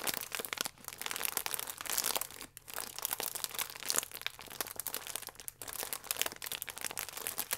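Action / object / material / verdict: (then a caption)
scrape / sealed plastic film croissant wrapper / plastic film / none. A sealed plastic film croissant wrapper with the croissant inside is squeezed and crinkled by thumbs and fingertips. The result is a continuous bright, dense crinkling and crackling of the film with many sharp, short snaps and no ringing.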